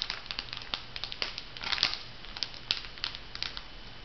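A filled, flat, printed foil sheet-mask packet is bent and crinkled by hands, giving a dense run of bright, crackling crinkles with sharp snapping spikes throughout. The sound is mostly high and thin, with very short decay, over a faint low hum.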